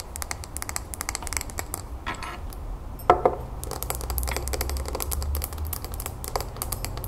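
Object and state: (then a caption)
Glass terrarium bowl. Long nails tap fast around the outside of a small, round, clear glass bowl filled with soil, pebbles and a succulent. The result is a rapid stream of short, bright clicks over a steady low hum. Around the middle, one louder tap rings briefly with a glassy tone near 720 Hz.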